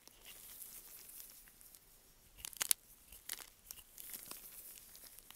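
A small curved knife blade scrapes and cuts crunchy slices from the surface of a solid, dry green "Green Tea" soap bar by Svoboda, held in purple nitrile gloves over a pile of shavings. Quiet, bright, crisp scraping and crinkling runs throughout, with a loud cluster of sharp crunches near the middle and scattered crackles after.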